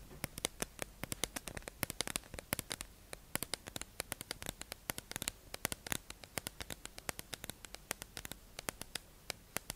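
A hollow, clear plastic tube-shaped package holding makeup sponges is held in the hand and tapped and scratched with long acrylic nails. Rapid, irregular, sharp, bright clicks with almost no ring come quietly over a soft, scratchy hiss for the whole clip.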